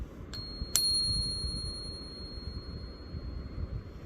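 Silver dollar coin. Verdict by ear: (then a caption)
Real. A Morgan silver dollar is flicked twice, the second strike producing a bright, very high-pitched ring that sustains for several seconds over low background rumble, marking it as a genuine silver dollar.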